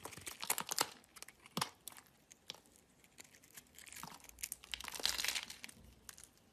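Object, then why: Bar of soap scraped with a blade. A metal utility knife blade scrapes a solid orange-and-white striped bar of soap held in the hand. Quiet, dry, crisp scraping and crumbling comes in quick bursts of short bright rasps, with a denser run of shaving near the end and almost no low end.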